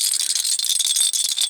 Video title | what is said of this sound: 1996-97 McDONALD'S set of 24 U3 HAPPY MEAL FULL COLLECTION VIDEO REVIEW | there's a little bead or something inside. So, it's like a rattle toy, like a rattle ball toy.